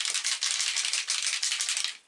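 A pot of Black Amber model paint, full of small glitter flakes, is shaken hard before airbrushing so the flakes mix in. The result is a steady, bright, dry rattle of quick shakes that fades out at the end.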